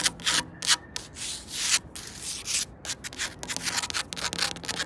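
Long pointed red and black nails scratch and rub along the edges and faces of vertical solid wooden slats on an outdoor park fence or planter border. The result is a fast, irregular series of bright, hissy scraping strokes with almost no low end, including a few longer swelling rubs in between.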